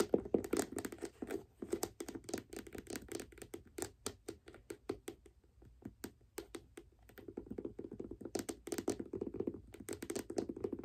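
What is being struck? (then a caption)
Leather figure skate boot. Long black nails tap and scratch the leather of a white figure skate boot held sideways near its metal lace hooks. Quick, soft, dry taps come in dense bursts, mixed with a muffled scratching rustle centred in the low mids. They thin out briefly in the middle before steady scratching builds up again toward the end.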